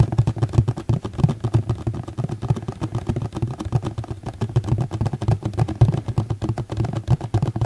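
Rapid, continuous tapping on a plastic container produces a steady stream of dull, low-pitched knocks centered around 110 Hz. Each tap dies away almost instantly, leaving no ring between them.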